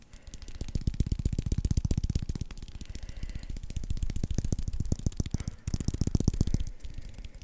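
A white baseball with red stitching and a solid core under a leather cover is held in the hands close to the microphone and tapped and scratched with the fingertips. It produces a rapid, uneven stream of soft, muffled, low thumps that stop almost instantly, with faint scratchy texture between them.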